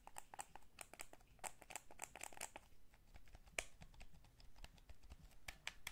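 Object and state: Plastic game controller.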